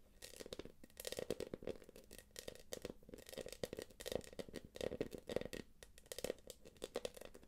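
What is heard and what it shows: Long acrylic nails tap and scratch the quilted flap of a small light-blue quilted PVC jelly purse. Rapid dry clicks and scratchy, crinkly scrapes come in uneven bursts, with a midrange body around 500 Hz and bright, hissy highs. Each tap stops dead with no ring.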